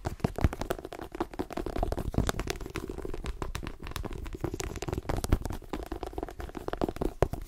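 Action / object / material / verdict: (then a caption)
tap / paperback book with glossy card cover / paper, card / none. A solid light-blue paperback book with a glossy card cover is gripped in both hands while long nails rapidly tap and scratch across the cover. The result is a fast, dense stream of dull, low-weighted taps with crisp scratchy clicks and almost no ring.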